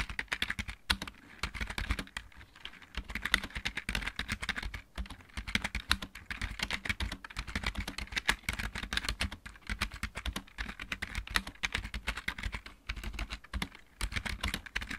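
Fast typing with the fingertips of both hands on a full-size backlit mechanical keyboard with plastic keycaps. It produces a dense, continuous stream of short, sharp clacks that are bright around 2 kHz, with a low thump underneath and almost no ring after each keystroke.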